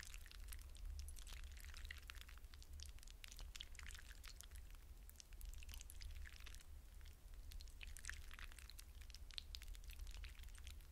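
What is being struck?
Hydrogel water beads in a glass bowl.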